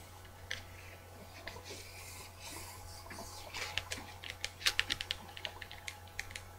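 Long dark-painted nails tap and scratch the card cover of a medium-sized paperback book, "Japanese Ink Painting," held up in both hands. Soft, hissing scratches on the cover give way to a run of short, bright clicking taps that come more often in the second half, over a steady low hum.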